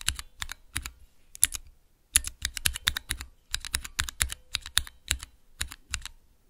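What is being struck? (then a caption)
Plastic mechanical key switch tester. Fingertips press the keys of a small clear plastic Cherry MX mechanical key switch tester. The result is a quick, irregular run of sharp, bright clacks, each with a short low thud underneath. There are brief pauses between the bursts of keypresses.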